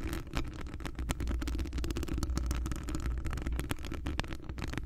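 Long acrylic nails on both hands scratch a hollow metal wire-mesh microphone grille. A dense, continuous low rumble carries rapid, crackly scratching and tapping that flickers up into brighter tones, with only brief ringing after each touch.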